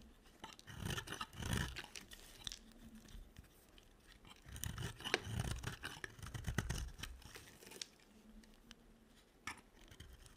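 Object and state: Dry soap bar being shaved.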